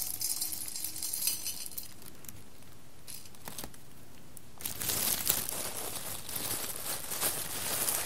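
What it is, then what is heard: Roasted coffee beans stirred in a glass bowl. Fingertips press into and stir a pile of roasted coffee beans in a clear embossed glass bowl, and the beans rattle against the glass with bright, crinkly clicking. The rattling is light and scattered at first and quiets to a few faint clinks, then grows denser and louder from about the midpoint to the end.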